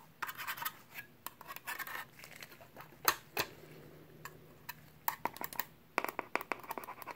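A pen tip scratches along the edge and surface of a small perforated sheet-metal hard drive caddy, producing bursts of dry, bright scraping. These are broken by sharp metallic ticks that stop quickly. Quiet gaps with a faint low hum separate the flurries.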